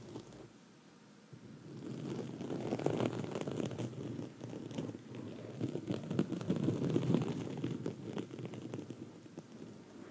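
Long red nails on both hands scratch a black foam microphone windscreen throughout, making a dense, crackly, muffled rustle. It starts quiet for about a second, then swells into continuous low-mid scratching that rises and falls in waves before easing slightly at the end.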